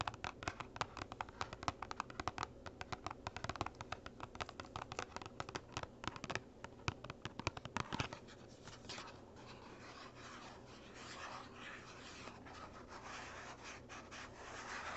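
Fingernails scratch and rub the surfaces of a small, hollow, printed cardboard gift box, first while it is held in the hands and then while it lies flat. For about eight seconds there is a quick, crackly patter of sharp scratching taps. It then gives way to a softer, steady brushing rub that swells slightly toward the end.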